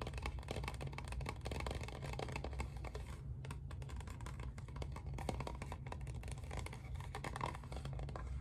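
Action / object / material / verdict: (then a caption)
tap / plastic spray bottle / plastic / none. Fingertips and nails tap and scratch the body of a clear green plastic spray bottle with a trigger head, held in the hands; the bottle is hollow and apparently mostly empty. Quick, dry plastic clicks and scratchy rustles run almost nonstop over a steady low hum, thinning briefly around the three-second mark before picking back up.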